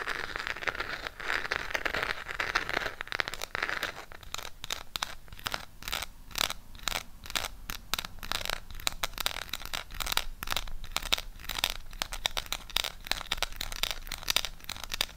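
A small, flat burgundy Harry Potter eyeshadow palette with a cardboard case is held close to the microphone while long pink nails tap and scratch its printed surface. The first few seconds are a steady bright scratching. It then changes to a long run of dry, quick clicking taps mixed with rough scraping, each tap dying away almost at once.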